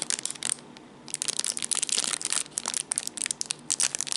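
Fingertips squeeze and crinkle a small clear plastic zip bag holding coiled black cables, held in the hands. Dense, bright, crackling crinkles fill the clip, concentrated in the high frequencies, with a brief quieter pause early on before the crinkling resumes.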